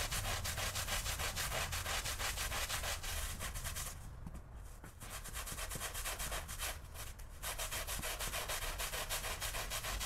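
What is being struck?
Woven fabric rug scrubbed with a stiff-bristle brush.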